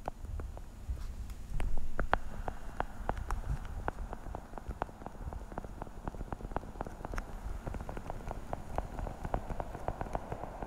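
A translucent blue hollow plastic weekly pill organizer, held close to the mic, has its lids tapped quickly with long nails. The result is a rapid, irregular stream of short, dry clicks with a hollow mid-range tone over a soft low rumble.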